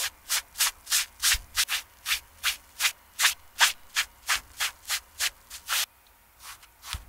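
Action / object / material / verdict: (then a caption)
scrape / canvas slip-on shoe / canvas / none. A foam sponge brush rubs the canvas side and heel of a TOMS canvas slip-on shoe in 19 soft, evenly spaced strokes. Each stroke is a brief, bright, airy swish of fabric with almost no low end, and the last few strokes after a short pause are fainter.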